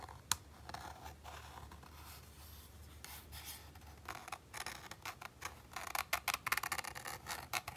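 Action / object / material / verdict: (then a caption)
scrape / textured plastic game controller grip / plastic / none. A fingertip and fingernail scratch the white, micro-textured plastic grip of a hollow PS5 DualSense controller up close. A sharp click near the start gives way to soft, steady scratching, then quicker, louder bright scrapes in short bursts toward the end.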